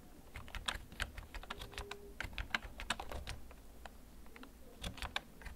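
Fingertips slowly tap the keys of a backlit, hollow plastic gaming computer keyboard that is held and tilted. Short, sharp plastic clicks with a bright edge come in an uneven series, each dying away almost at once. A low, steady rumble sits quietly underneath.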